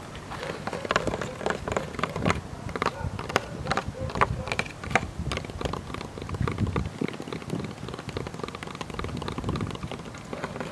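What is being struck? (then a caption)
Small wooden table top. Both hands tap and drum with fingertips and nails on the weathered, slatted top of a small, old wooden table about the size of a stool, standing outdoors. The solid, flat top gives a fast, dense patter of short, dry knocks and clicks with no ring, sometimes sounding like rain on a surface. The drumming stays fairly steady through the clip.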